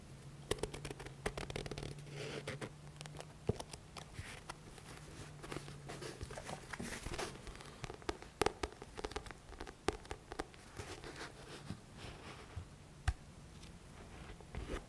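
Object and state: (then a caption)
Paperback book. Fingertips tap and scratch the card cover and page edges of a thick paperback book with a paper cover while the book is turned between back and front. Quiet, sharp taps and dry scratching rustles come in quick irregular bursts over a faint, steady low hum.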